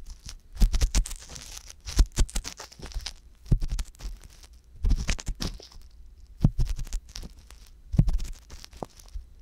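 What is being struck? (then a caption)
Silicone ear on a binaural microphone, scraped with a wooden ear pick. A wooden ear pick with a metal tip repeatedly scratches the canal of the left silicone ear on a binaural microphone. It makes clusters of scratchy, crunching strokes with deep close-up thumps and a bright crackle, separated by short quiet gaps. The sound is dry and very close, with almost no ring.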